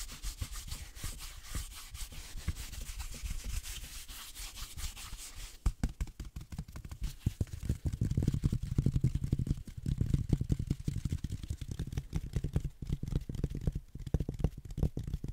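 A hand-sized dark green reindeer figurine with a fuzzy, velvet-flocked surface over a rigid core, likely plastic, is held in one hand and scratched and rubbed with the fingertips of the other. A dense stream of quick, soft scratching strokes starts with a faint bright hiss, then after about 5.5 seconds turns into heavier, low, muffled rubbing that grows louder around 8 seconds and continues to the end.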